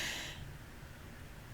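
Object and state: Nothing is struck.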